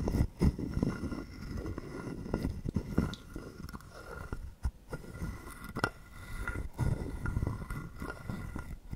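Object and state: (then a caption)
Carved wooden frog guiro. A wooden stick is scraped along the ridged back of a hollow carved wooden frog guiro held in the hand. It makes soft, low, rattling, rasping strokes with quick clicks and a hollow body tone. Occasional sharper knocks stand out, and there is little high content.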